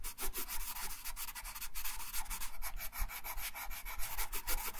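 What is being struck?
Wooden colored pencil rubbing on thin paper over a wooden table.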